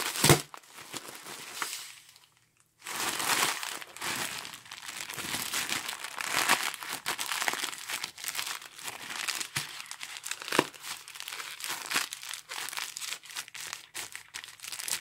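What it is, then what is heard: Plastic mailer bag being crumpled. A torn, empty grey star-printed polyethylene mailer bag is crushed and crumpled in a gloved fist, making a dense, bright crinkling with sharp crackles. The plastic noise runs almost continuously, broken only by a brief pause early on before the crumpling resumes.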